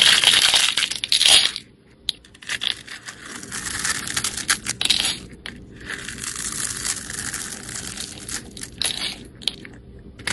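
A snap-off utility blade scrapes and cross-cuts the surface of a solid rectangular green bar of soap held in the hand, so small cubes and shavings crumble off. The result is a bright, crisp scratching and crunching, loudest at the start, with a brief near-silent pause around two seconds before the steady scraping returns in dense, uneven bursts.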